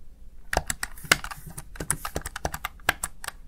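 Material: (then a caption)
Plastic. Keys on a small, hollow, backlit plastic Razer Tartarus Chroma gaming keypad are tapped with fingertips and long nails in quick typing bursts. About eighteen sharp, bright plastic clicks with a light hollow thump stop almost instantly, with no ring between taps.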